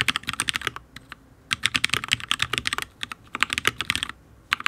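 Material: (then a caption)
ABS plastic. A HyperX Alloy Origins full-size RGB mechanical keyboard with Fire switches and ABS keycaps on a steel plate, solid, is typed on with the fingertips of both hands. The result is bursts of fast, bright, crisp clicks and clacks with very short decay, separated by brief pauses.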